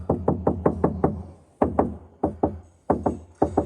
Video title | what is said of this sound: From Stock to Stunning: Mercedes C-Class Audio Upgrade | a very very slight difference in just in that panel but incredibly tinny